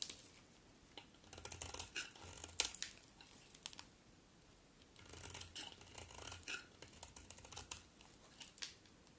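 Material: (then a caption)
Soap. A solid white bar of soap held in the hand is carved with a utility knife blade, producing quiet, crisp scraping and shaving sounds that are bright and dry with little low end. The cutting comes in two bursts of rapid strokes separated by a brief pause, each stroke ending almost instantly.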